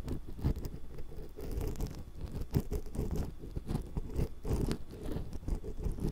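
A thin metal ear pick held in long-nailed fingers scrapes the metal mesh capsule grilles of a small hollow X-Y stereo microphone. The sound is a steady stream of low, muffled scratching and crunching with dense, closely packed short strokes and almost no high-frequency content.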